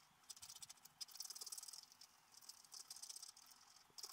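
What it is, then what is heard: Scratch-art paper card being scratched. A wooden stylus scratches small, quick strokes near the edge of a black-coated scratch-art paper page lying flat. The result is a quiet, rapid series of dry, bright scratching bursts with a hissy texture, starting and stopping sharply, with almost no low end and no ring.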